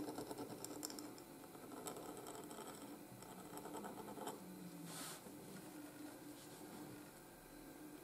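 A steel pointed nib in a wooden holder scratches across a flat sheet of white gridded paper while writing letters. Quiet, dry scratching strokes mix with crisp, bright ticks as the nib moves, with a brief airy hiss midway through.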